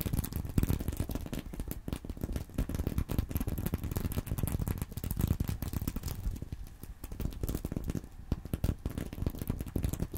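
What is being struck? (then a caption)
Sequin-covered fabric purse. Fingernails scratch the plastic sequins near the top zipper edge of a flat sequin-covered fabric purse, likely empty, resting on a corduroy pillow. The result is a steady stream of fast, dry scratching and rattling clicks with a dull, low-heavy tone and little high-end sparkle.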